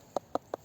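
Three knocks on the trunk of an old plum tree at an apiary give short, dull, hollow thuds centred in the mid range with almost no ring. The hollow sound shows the trunk has rotted away inside, the kind of decayed tree that draws woodpeckers.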